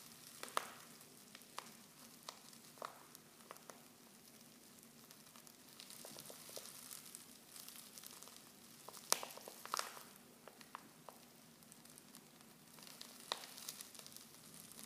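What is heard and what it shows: Fingers with long nails crinkle a silver foil Pickwick tea pouch, open at the top and half full of loose tea leaves. The sound is a quiet, continuous bright rustle of foil, broken by sharp, short crackles and the soft shifting of the leaves inside.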